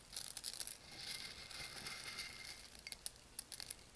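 Dry, whole roasted coffee beans in a lava stone molcajete are dug into and rubbed with both hands, then sprinkled by the handful back into the bowl. A bright, crisp rattle and rustle of beans builds to a steady dry scraping, followed by sharp, separate clicks as the beans drop and bounce.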